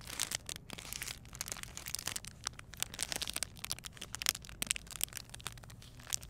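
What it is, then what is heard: Plastic packaging bag being crinkled. Long painted nails press, rub and crinkle the clear plastic bag holding a gel bead eye mask, and the beads inside may shift. A steady stream of bright, sharp crinkles and crackles carries almost no low end and stays fairly quiet throughout.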